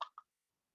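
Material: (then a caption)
Lead. An old plastic Kodak film canister, about half full of lead split shot and used as a weighted base for gluing, is shaken. Two short, bright rattles are heard, centred around 1 kHz with almost no low end and very little ring.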